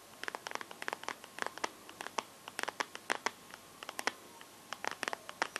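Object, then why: Smartphone in a plastic case. Fingertips and nails scratch and tap the back of a smartphone in a translucent teal plastic case, held in both hands. About thirty short, dry, bright clicks and scratchy ticks come in an uneven stream, each stopping instantly. There is no low-end body, only a faint steady tone underneath.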